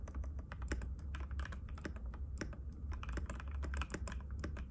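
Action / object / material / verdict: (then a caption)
tap / plastic mechanical keyboard / plastic / none. Fingertips of both hands type continuously on a compact cream-white mechanical keyboard with plastic keycaps and a hollow case, resting on a glass table. Rapid, overlapping clacky taps sit over a steady low hum.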